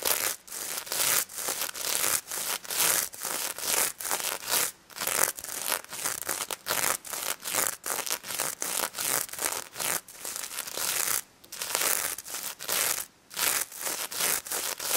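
Long red nails scratch the plastic sequins on a pink stuffed plush pig toy in close-up, with some tapping. Short, dense, bright scratching strokes repeat rapidly in a steady rhythm, crisp and hissy with almost no low end and no ring after each stroke.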